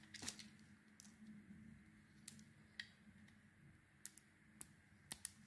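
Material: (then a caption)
Soap. A solid oval bar of pale green and cream soap, held in the hand, is scraped with a metal knife, and layers of shavings peel off. The sound is a quiet series of brief, sharp, bright scraping clicks that die away almost at once, set over a faint low hum.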